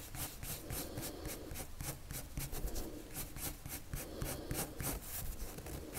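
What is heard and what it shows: A pink-striped, wood-cased colored pencil held in the fingers rubs and scratches its tip across a thin white paper sheet lying flat on a table in repeated short drawing strokes. Each stroke is a bright, dry scratch over a steady low rumble that runs throughout.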